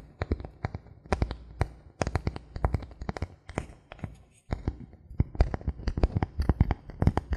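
Fingernails tap and scratch a thin solid bamboo board, ending with fingertips tapping close up. The result is a rapid run of short, dry clicks with a low, hollow thump beneath and bright scratchy edges. The clicks pause briefly partway through, then resume.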